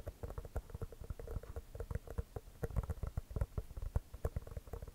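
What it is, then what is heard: Composite leather basketball. An inflated, hollow composite leather basketball is held beside the mic and tapped rapidly with the fingertips over its pebbled surface. The result is a quick, uneven patter of short, deep, muffled thumps with a hollow low resonance and almost no brightness, each tap dying away at once.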